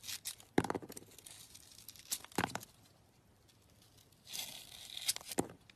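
A box-cutter blade slices the pink glitter coating off a hand-held solid soap bar with a yellow core. Bright, dry scraping and crisp tearing rasps come in bursts, punctuated by a few sharp clicks. There are quiet stretches between the cuts.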